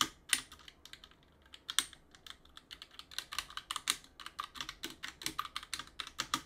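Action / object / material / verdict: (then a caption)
tap / mechanical keyboard with plastic keycaps / plastic / none. Gloved fingertips press the keys of a backlit mechanical keyboard with plastic keycaps and clean between them. About thirty short, bright plastic clicks die away almost instantly, sparse at first and then coming in a quicker, steady run.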